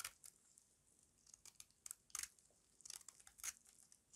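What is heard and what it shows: A small metal blade scrapes curls off a solid square bar of dry white soap held in the palm. The result is a series of quiet, brittle, bright scraping crunches with almost no low end, each one short and dry.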